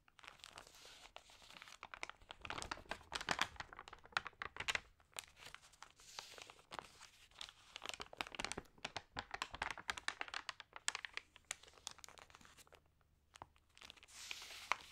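Long nails and fingertips rub and turn the thin, wrinkled pages of an open glossy paper magazine. The result is a quiet, dense run of bright crinkling and rustling bursts, with sharp crackles and short pauses between page movements.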